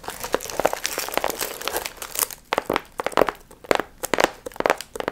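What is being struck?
Paper piñata with metallic foil fringe.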